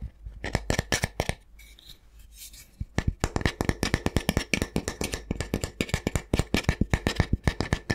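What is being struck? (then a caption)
Flat wooden spatula. A flat, solid wooden spatula is held in one hand and tapped and scratched with the fingertips and nails of the other hand. Quick, dry, short taps come in uneven bursts, broken by a stretch of softer scratching and rubbing. Then a fast, steady run of crisp taps follows, with a bright clicky edge over a low knock.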